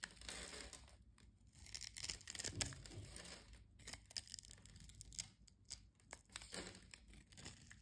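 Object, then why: Bar of soap. A metal utility-knife blade scrapes across the grid-scored surface of a solid brown soap bar held in the palm, cutting it into small cubes. Dry, bright, crinkly scraping and crumbly crunching come in uneven bursts, with a faint low rumble underneath.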